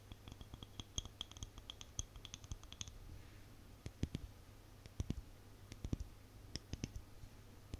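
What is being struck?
Small plastic cosmetic jar with lid.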